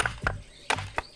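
Four knocks on one spot of a mudstone block meant for an inkstone are made to find a crack the eye cannot see. The knocks are short, dull taps with almost no ring. The block proves to be cracked, and the cracked piece soon breaks off.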